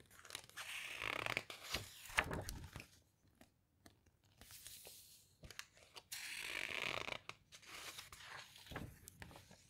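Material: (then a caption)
Glossy paper. A hand with long red nails presses, rubs and squeezes the glossy pages of an open hardcover guitar book flat with the fingertips, then turns a page. The result is soft, bright papery swishes and crinkly rubbing in uneven bursts, separated by brief quiet gaps, with a few sharper ticks from the pages.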